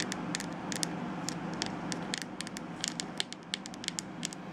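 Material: Plastic.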